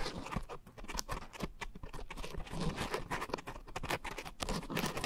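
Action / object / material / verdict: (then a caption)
scrape / coarse foam sponge scratched and tapped by fingernails / foam / none. Long nails scratch and tap the surface of a round, soft, porous pink coarse-textured foam scrub sponge with a white foam base, mounted over two microphones. The result is a steady, close patter of soft, muffled taps and rustling scratches, weighted toward low thumps, with brief bright crackles running through it.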